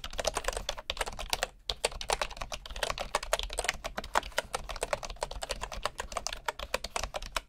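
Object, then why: Wooden keyboard with wooden keycaps. Fingertips type quickly on a bamboo computer keyboard with wooden keycaps, producing a rapid stream of short, dry, clicky taps with bright edges. The typing breaks briefly once before continuing at a steady pace over a faint low hum.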